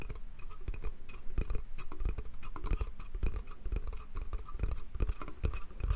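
Fingernails rapidly scratch and tap on the slats of a small, empty, hollow pine slatted bath crate. The result is a dense run of quick, dry clicks and scrapes with a low, hollow thump under each tap and no ring after it.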